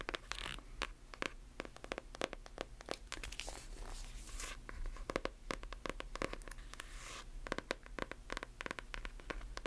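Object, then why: Hardcover book. A closed hardcover book is turned in the hands while long nails tap and scratch its covers. Quick, dry clicking taps come in irregular bursts, mixed with brief bright scratching swishes over a faint low hum.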